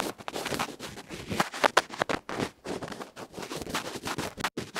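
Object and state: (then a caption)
Bamboo ear pick scratching a felt-faced microphone capsule. A bamboo ear pick scratches and rubs across the felt face of a small metal electret microphone capsule. The result is a rapid run of loud, dry, broadband scraping and crackling bursts with bright peaks and very little low end, each cutting off almost instantly.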